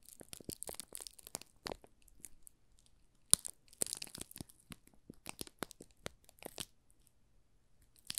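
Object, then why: Soap bar in thin plastic film. A small, solid yellow Marseille soap bar wrapped in thin clear plastic film is held in both hands while fingertips and nails rub and press the film. This makes it crinkle in quiet, bright, crackly bursts. The bursts have brief pauses between them, including a quieter stretch near the end.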